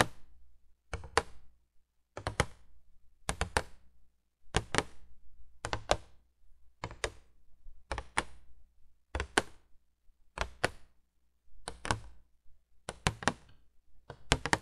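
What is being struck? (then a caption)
Printed cardboard box. Long painted nails tap and scratch the front face of a vintage 1980s printed cardboard box for a window candle light, held upright. Short clusters of quick, dry taps and scrapes repeat at roughly one-second intervals with brief pauses between them. Each tap is a soft, papery thunk with a little low body and no ring.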